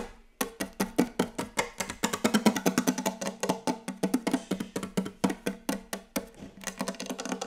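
Very fast, aggressive tapping on a wooden table: a dense run of about forty sharp, dry knocks with a woody tone near 211 Hz. Each hit decays almost instantly, and the knocks come in quick, uneven bursts with no speech.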